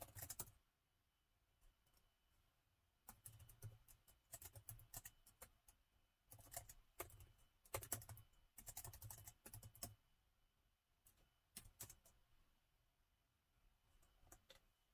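Fingertips of both hands type on the black plastic keys of a hollow-bodied, gold metal-look laptop in short, quiet bursts separated by pauses. Each burst is a rapid patter of bright, dry key clicks over a soft low thump, with almost no ring after each press.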